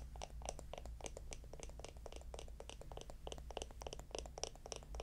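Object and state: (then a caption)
Wooden lidded jar. A small, hollow, round wooden jar with a lid is held close and tapped and scratched with long nails. The result is a rapid, irregular stream of crisp, dry clicks and scrapes with bright, short attacks that die away almost instantly, over a steady low hum.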